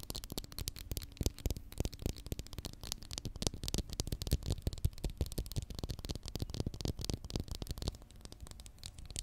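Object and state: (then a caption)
Plastic glue stick. Long manicured nails tap and scratch along the plastic body of a small, capped Pritt glue stick, a plastic tube filled with glue, held in one hand beside the mic. The result is a dense, irregular stream of quick, dry clicks and taps with a soft low thud beneath them, mixed with brief scratchy rasps and no ringing after each hit.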